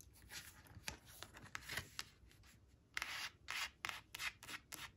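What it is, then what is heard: Paper flash card scratched with nails. Long blue acrylic nails trace and scratch over the printed "4 four" on a small, thin coated paper flash card lying flat on a woven cloth. The result is a quiet run of short, bright, dry scratching and rubbing strokes, some soft and some sharper, each fading almost at once.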